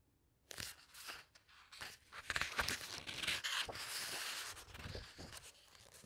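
Long-nailed fingers smooth down and flip the glossy paper pages of a large open hardcover book. After a brief silence, bright, crisp rustles and crinkling swishes come in irregular overlapping bursts, with sharp papery snaps as the pages turn.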